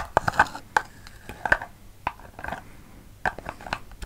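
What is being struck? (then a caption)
Small cardboard gift box. Fingertips and nails tap and scratch a small, hollow red patterned cardboard gift box with a purple lid, held in the hands close to the microphone. About 13 short, dry, hollow taps with a woody mid-range knock sound between soft scratching, each dying away almost instantly.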